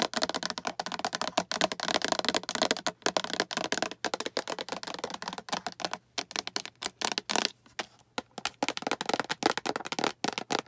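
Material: Plastic.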